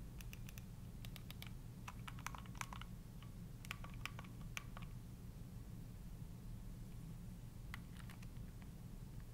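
A gray plastic Nintendo Switch handheld game console with Joy-Con controllers is held in both hands while the thumbs repeatedly press and click its plastic buttons and sticks. Quiet, sharp, bright clicks come in irregular bursts and die away almost instantly over a steady low hum. The clicking thins out toward the end.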